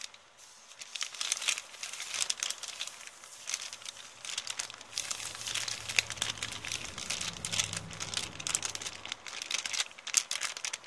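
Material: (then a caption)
Paper. An empty kraft paper shopping bag with blue print is crinkled and rubbed with long nails and fingertips while being moved. It gives continuous, bright, crackly crinkling with dense, quick rustles, and a faint low hum appears in the middle stretch.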